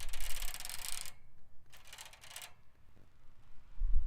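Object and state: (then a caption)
Bicycle basket. A bicycle basket is tapped and scratched with a nail worn on a fingertip. Two bursts of bright, rattling metallic scraping are heard, the first lasting about a second and the second shorter, followed by faint taps and a low thump at the end.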